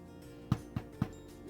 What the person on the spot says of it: I'm just gonna tap it and see what it sounds like. Kind of has a hollow-ish sound so that means our bread is done.